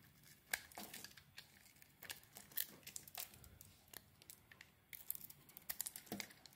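A solid green Palmolive soap bar with a blue coating is turned in the hand while a metal blade scrapes its surface. The result is a quiet series of short, dry, bright scraping and crinkling strokes in irregular bursts, with little low end.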